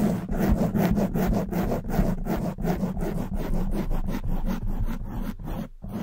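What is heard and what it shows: Long nails scratch the front and sides of a soft black foam windscreen on a silver condenser microphone. The result is a close, dense rustling scrape, heavy in the low end with a steady rubbing rhythm and brief pauses between strokes.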